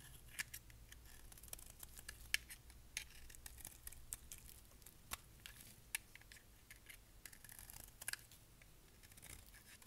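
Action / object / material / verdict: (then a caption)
scrape / bar of soap scraped with a knife blade / soap / none. A solid black dry bar soap is held in the hand and scraped with a utility knife blade, cutting off shavings. Quiet, bright, crisp scraping strokes and sharp little clicks repeat throughout, over a faint low hum.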